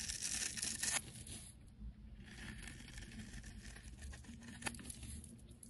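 A snap-off blade shaves the surface of a solid oval green soap bar held in the fingers. A bright, dense scraping rasp is loudest in the first second, then softens into quieter, uneven shaving strokes with a sharp tick near the end.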